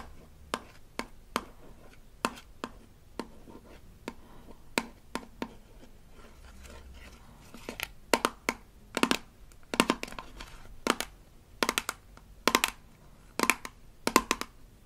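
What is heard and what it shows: Long nails tap and scratch the label side of a small rigid plastic toy toothpaste tube from a Melissa and Doug Super Smile Dentist Kit, held in one hand. Sparse, sharp, bright clicks with almost no ring come first, then a soft scratching stretch leads into quicker, louder bursts of clustered taps.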